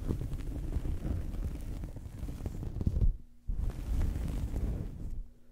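Fingernails scratch and fingertips rub a small fabric towel draped over a microphone. The result is a continuous, muffled, low rumbling scrape with almost no bright content. The sound pauses briefly just after the three-second mark, resumes, and then fades out at the end.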